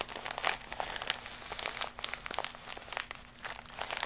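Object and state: Plastic mailer pouch.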